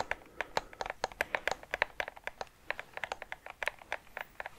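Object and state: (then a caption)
Plastic game controller. A white and black PS5 plastic game controller, hand-sized with a hollow shell, is tapped and scratched with fingertips and nails on its body and buttons. About 28 quick, dry, clicky taps come in an uneven rhythm, each bright and crisp with almost no low end and no ring, over a faint scratchy rustle between them.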